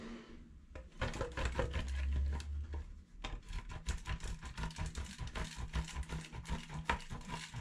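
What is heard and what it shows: A solid yellow-green bar of soap, held in the fingertips, is rubbed back and forth over the holes of a stainless steel box grater standing in a black bowl of soap shavings. After a quiet opening second, there are quick, uneven rasping scrapes, stroke after stroke, with a dull, low-heavy body and short crisp edges that die away at once.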